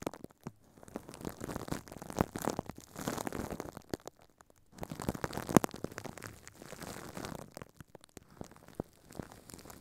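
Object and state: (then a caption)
Plastic wrap crinkled over a microphone. Thin clear plastic film is wrapped over a microphone head while furry puppet hands crumple and crinkle it. The result is a quiet, dense run of crackling, rustling bursts with brief pauses in between.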